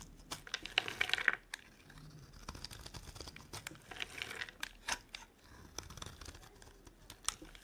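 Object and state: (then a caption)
Dry soap bar being carved. A metal blade cuts and scrapes chunks off a solid, dry, rectangular soap bar with green and white stripes, held in the hand. Crisp, bright crackling and crumbly scraping come in short bursts, with louder clusters of crunching near the start and again around the middle, separated by quieter scratchy passes.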